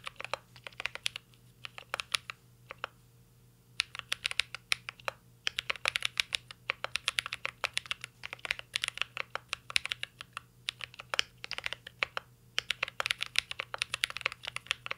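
A mint green Cyberboard R3 mechanical keyboard with a metal case and plastic keycaps is typed on continuously with the fingertips of both hands. Rapid, bright, crisp clacks with no ring run throughout, broken by a few brief pauses around two to four seconds and near twelve seconds.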